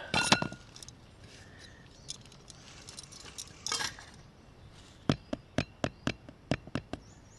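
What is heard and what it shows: A freshly baked breakfast bannock, just taken out of a Trangia Mini oven while camping, is tapped nine times in quick succession, giving short, sharp, hollow knocks like tapping a wooden top. Earlier there is a brief clatter and some soft handling noise. The hollow tap usually means the bread is done, but it is not confirmed, and the bannock goes back on a tiny flame to make sure the middle is cooked.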